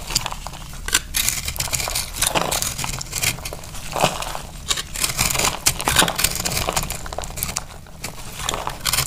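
A utility knife blade cuts through a dry, oval soap bar with a white crust and a green, crumbly inside. Dense, bright crunching and crackling scrapes continue throughout, with short louder bursts as the crust breaks and crumbles.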